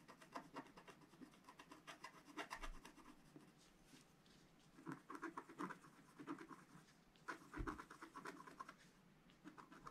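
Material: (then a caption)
Coated card. A wooden stylus scrapes small detail areas on a black-coated scratch art card sheet with many short strokes. It makes quiet, dry scratching in quick bursts, with a few louder strokes and brief pauses between clusters.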